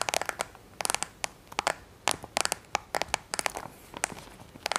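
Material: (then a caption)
Plastic. Fingertips and nails tap, press and scratch the rubber buttons and hollow casing of a black, handheld-size plastic TV remote held in both hands, with rings on the fingers possibly adding small clicks. The result is an irregular series of sharp, dry, bright clicks and short crinkly scratches that stop instantly with no ring and almost no low end.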